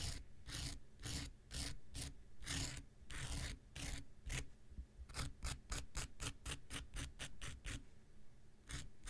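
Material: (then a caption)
Foam. An X-Acto knife scratches across the abrasive surface of a small, solid, rectangular pink foam nail buffer block in about two dozen strokes. Each stroke is a bright, rasping scrape with a low, dull undertone. The first strokes are longer and slower, and the later ones come as quicker, shorter flicks before a final pair.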